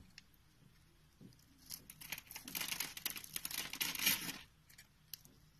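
A box-cutter blade scores and carves the face of a solid pink Fa-branded soap bar held in the palm, shaving it into many small flakes. Dry, bright scraping and crisp crackling build in a dense burst of quick cuts through the middle of the clip. The activity then thins back to near silence with a few light ticks.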